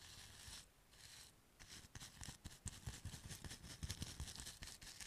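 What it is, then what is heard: Paint brush rubbed on a foam block. A paint brush with pale natural bristles is brushed and rubbed across the surface of a small, solid white foam block (styrofoam-like) held in one hand. Two long, soft swishing strokes are followed by a quicker, uneven run of short, scratchy rubs. The result is a bright, airy hiss over soft low thumps.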